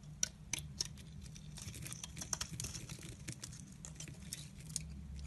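A blade with a pink handle carves and scrapes slices off a solid olive-green Dalan soap bar held in the hand. Quiet, crisp, bright scraping and ticking cuts repeat over a steady low hum, with a few sharper snaps standing out.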